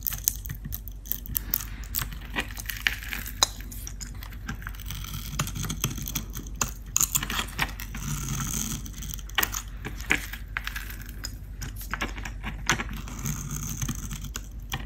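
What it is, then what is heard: Dry bar soap being shaved. A metal blade shaves and scrapes dry, crunchy curls off the blue painted face of a solid, hand-sized bar of Dalan soap held in the hand. Dense, crisp scraping crackles with sharp, bright clicks runs throughout, over a steady low hum.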